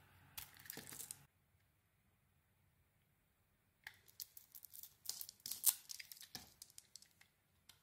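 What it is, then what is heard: Bar of soap being carved. A blade scrapes and carves a solid red Isana bar of soap with a pink interior, giving dry, bright, crackly scraping. A rough burst of scraping at the start is followed by a few seconds of near silence, then a quick run of short, crisp cuts and flakes before a last faint scrape.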